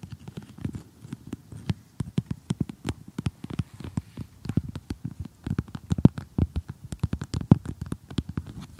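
Several fingertips with short, glittery painted nails tap and scratch across an assembled flat cardboard jigsaw puzzle with a colorful house picture, lying on a table. The result is a quick, uneven stream of dry, muffled taps with a low, hollow body and brief bright clicks, each dying away almost instantly.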